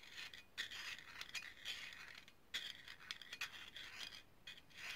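A small hollow brass herb grinder is twisted and scraped by hand, its sections partly pulled apart. It gives a quiet, bright metallic rasping and scraping with little low end, broken by short sharp peaks and a recurring tinny ring around 3.5 kHz.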